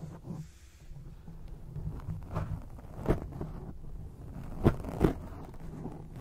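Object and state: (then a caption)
Foam microphone windscreen. Long acrylic nails on both hands scratch and tap a black foam windscreen on a microphone, making a steady low, rumbly rustling. Three sharper, louder taps stand out near the middle and end of the clip.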